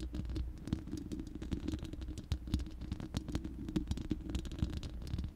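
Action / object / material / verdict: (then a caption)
scrape / steel mesh microphone grille / steel mesh / none. Long manicured nails of both hands scratch and tap the uncovered, hollow round steel mesh grille of a large studio microphone. The result is a dense, rapid patter of short, dry clicks and scratchy rustling over a heavy low, boomy rumble, with faint bright ticks on the sharper taps.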